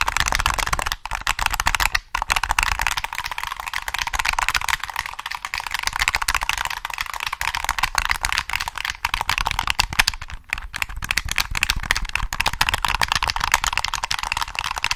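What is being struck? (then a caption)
Plastic game controller. A black, hollow plastic PS3 game controller is turned in the hands while fingertips tap its shell and click its triggers. The result is a steady, rapid stream of short, bright plastic taps and clicks that die away almost instantly, with a few brief pauses.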